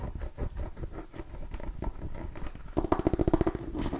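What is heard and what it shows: Long nails scratch and tap a small orange and cream striped mini pumpkin with a hard ribbed rind, held up close to the mic. Soft, low scratching patter fills the first part, then a quick run of about ten sharp taps rings with a short, hollow tone before the scratching resumes.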